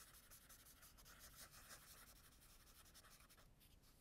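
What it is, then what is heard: Charcoal scribbled on sketchbook paper. A black charcoal stick, held by a hand with long nails, is rubbed and scribbled hard across a spiral-bound tan toned paper sketchbook lying flat, leaving dense dark shading. Steady, dry, scratchy rubbing with a bright, gritty hiss runs in quick back-and-forth strokes, easing slightly near the end.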